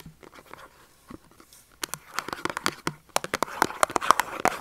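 A small Dove soap carton of thin printed cardboard with the soap still inside, held upright and tapped with short fingernails. Quick, dry, irregular clicks and light scratchy taps with a bright papery edge, soft at first and then growing louder and denser toward the end.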